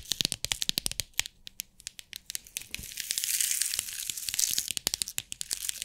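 Long nails tap and scratch the lid of a small clear plastic compartment box holding rhinestones, producing a run of sharp, bright clicks. Midway the box is held up and shaken, so the stones rattle inside with a dense, hissy crackle before the crisp tapping returns.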